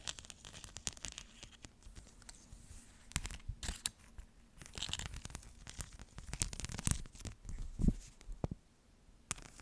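A flexible rhinestone mesh sheet, made of rows of plastic or metal rhinestones, is held up and scratched with long nails. It gives quiet, crinkly scratching and rustling broken by sharp clicky bursts, with no talking.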